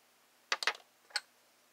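A graphite pencil scratches line work for a flower drawing on a flat paper sheet in a spiral sketchbook, held by the other hand. A quick cluster of short, dry, bright scratches is followed by one more stroke after a brief pause, each ending almost at once.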